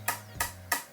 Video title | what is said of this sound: I BOUGHT A Wrecked Superbike For £20 And Repaired It | it has a solid, sort of almost glassy sound